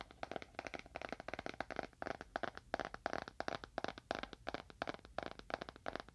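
A small, dark, solid leather-bound book is held horizontally in both hands and tapped quickly with the fingernails of both hands. The result is a quiet, rapid patter of short, dry clicks centered around 680 Hz, each dying away almost instantly.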